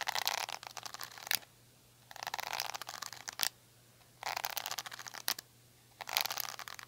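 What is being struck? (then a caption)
Plastic detangling hair brush with rubbery bristles. Long nails scratch the rubbery bristles and the back of a small black handle-less plastic detangling brush, producing bright, crackly rasping. The scratching comes in four bursts separated by quiet gaps, and three of them end in a sharp click. A faint steady low hum runs underneath.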